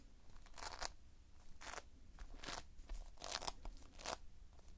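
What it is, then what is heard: Playfoam foam beads being squeezed. Fingers press and pinch into multicolored Playfoam, foam beads held in a sticky binder. This produces a series of crunchy, crackling bursts that are bright and reach high, over a quiet low-frequency background. Each crunch stops almost at once, with no ring.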